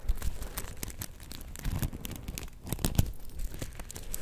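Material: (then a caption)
Sequins. A palm-sized soft star-shaped plush covered in black and gold flip sequins is held in both hands and scratched with long painted nails so the sequins flip. The result is a steady, dense crackle of quick scratchy clicks and crinkly rustles, with a soft low rumble beneath and a few brighter ticks.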